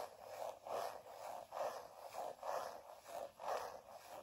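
A hand-sized black leather bifold wallet is held while fingernails and fingertips scratch and rub across it. Soft, rasping scrapes swell and fade in an uneven rhythm of about one per second, concentrated in the low-mid range with little bass. The strokes stay quiet and dry, with almost no ring after each one.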